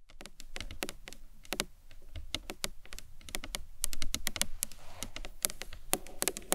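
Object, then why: Hard acrylic box clutch. Long nails and fingertips tap a rectangular, hard, hollow green marbled acrylic box clutch with a round clasp, which is also turned on its side. The result is a fast, irregular patter of sharp, bright clicks with dull low thuds underneath, each tap dying out almost instantly.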